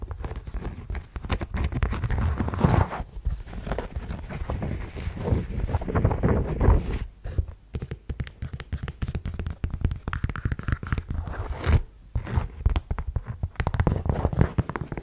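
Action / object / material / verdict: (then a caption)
tap / suede block-heel ankle boot / suede / none. A black suede block-heel ankle boot is held close and tapped and scratched along its shaft and heel with long yellow nails. The result is a dense run of soft, low, muffled taps mixed with scratchy rustles, with short quiet gaps.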